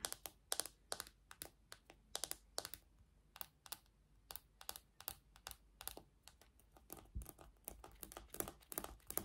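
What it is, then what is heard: Plastic paddle hairbrush. Long nails tap and scratch the hollow back of a small pink plastic cushion paddle hairbrush with black plastic pins. The result is a quick, irregular run of sharp, dry, bright clicks with almost no ring, separated by a soft scratchy hiss.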